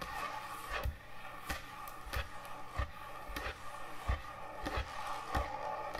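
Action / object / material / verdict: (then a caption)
tap / thick wooden end-grain butcher block cutting board / wood / none. Fingernails sparsely tap and scratch on a large, thick, solid wooden end-grain butcher block cutting board. Short, dull knocks with a low thump land at a loose, uneven pace over a soft, continuous scratching texture, and each tap dies away almost at once.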